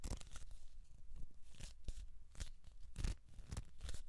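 Hands grip, rub and twist along the length of a hollow kraft cardboard tube with an open end. The result is a run of rough, papery scraping and crinkling bursts, each with a bright hiss over a dull, hollow low thump, separated by brief quiet gaps.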